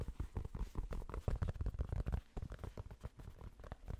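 A fingertip taps rapidly on the hollow crown of a grey cotton Penn State baseball cap. The taps are soft, dull, low thumps with almost no ring, running in a quick, uneven patter.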